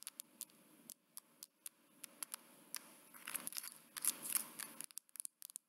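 Medium-length nails tap and scratch the smooth metal back of a gold smartphone, held close with its camera lens showing. About two dozen sharp, bright clicks come at an uneven pace, over a faint low hum. In the middle stretch they blur into a denser, scratchy rasp before the quick taps return.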